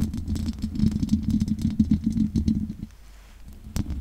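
Long nails scratch and tap rapidly on the sides of the hollow metal mesh grille of a large condenser microphone. The result is a dense run of dull, thumpy knocks with a low hum-like body, with brief bright clicks on top. The tapping drops to near silence around three seconds, then one sharp tap and a few softer scratches follow.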